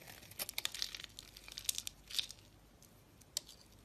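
A metal utility blade carves flaky, crumbly layers from a dry, powdery, solid white round soap bar held in the fingers. Quiet, bright, crisp scraping and crinkly crumbling come in short bursts and sharp ticks, with almost no low end and no ring.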